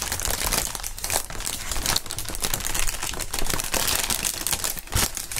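Clear polyethylene air-cushion packaging film (plastic air pillows) is squeezed and crinkled with the fingers, with some cushions possibly popping. A dense, continuous crackle of bright, sharp crinkles and snaps runs at a steady level over a low rumble.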